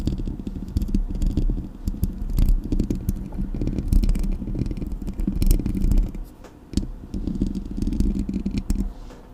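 Long nails scratch and tap on the hollow metal mesh grille of a Blue Yeti microphone, making a dense, close, low-heavy rumbling scrape full of quick, dry clicks. The steady scratching briefly drops away just after the six-second mark, returns, then fades toward the end.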